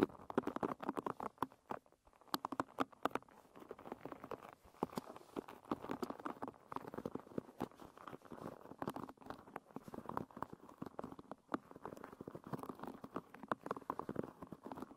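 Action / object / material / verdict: scrape / hairbrush with wooden pins / wood / none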